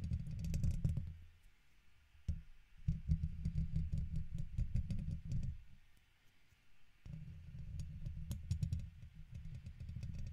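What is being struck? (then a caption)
Steel wire-mesh microphone grille scratched with a plastic pick. A red plastic guitar pick held between the fingers scratches and taps the hollow domed steel wire-mesh grille of a silver condenser microphone. Bursts of close, low, rumbling scraping are scattered with quick, brittle ticks, separated by short quiet gaps. Each scratching passage starts and stops abruptly with no ringing afterward.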